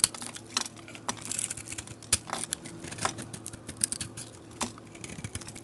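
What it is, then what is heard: Glitter-coated soap bar being scraped. A metal blade scrapes the glitter and foil flake coating off a solid oval soap bar held in the hand, down to the white soap underneath. The sound is a quick series of dry, bright, crackly scratches and ticks with no ring, over a faint low hum.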